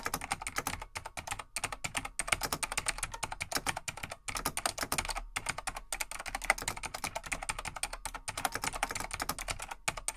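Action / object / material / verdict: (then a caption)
tap / plastic mechanical keyboard / plastic / none. Fingertips of both hands type steadily on a large beige plastic vintage full-size mechanical desktop keyboard, a Laser XT/AT, with light plastic keycaps. The result is a rapid stream of bright, sharp plastic clicks with almost no ring, broken by a few short pauses.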